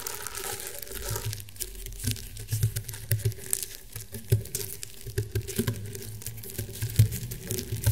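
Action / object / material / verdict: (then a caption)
scrape / round woven rattan table mat / rattan / none. Fingernails scratch across the woven ridges of a flat, round woven rattan table mat. The result is a steady, dry crinkling scratch with a low, deep body, broken by irregular louder scrapes and ticks throughout.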